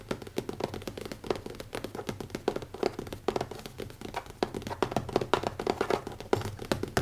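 Fingertips with short nails tap rapidly on the cover of a closed black leather-covered hardcover notebook with an elastic band, lying flat on a wooden table. The result is a steady stream of quick, soft, dull taps that die away almost instantly, with a muted mid-range knock around 390 Hz and little bright content.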